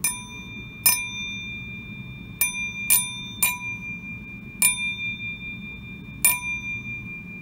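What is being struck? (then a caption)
Antique flint glass piece. An antique flint glass piece is pinged seven times, each strike ringing out with a clear, sustained bell-like tone. The ring is high and bright, carrying overtones that hold steady between strikes. This bell-like ring is one way to identify flint glass.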